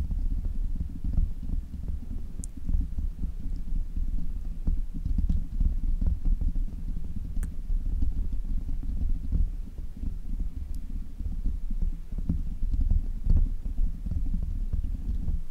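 Fingertips of both hands tap and scratch the black foam windscreen on a desk microphone. The result is a steady stream of dull, muffled thumps and rumbling low in pitch, with faint brushing crackles and the odd brief bright tick above.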